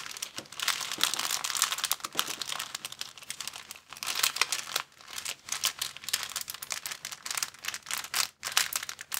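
A thin, empty, transparent plastic bag is crumpled and crinkled between fingers, making dense, bright crackling that comes in bursts. The crinkles are sharp with almost no ring, and they carry steadily through the clip with only brief pauses.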